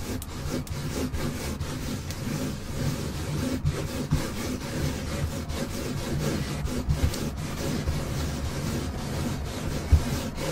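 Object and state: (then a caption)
Car floor mat being scratched. Two hands with long nails scratch and rub a flat, solid black textile car carpet or floor mat in a Jeep. The sound is a steady, dense, low rasping rustle with occasional sharper scratch accents, including a stronger one near the end.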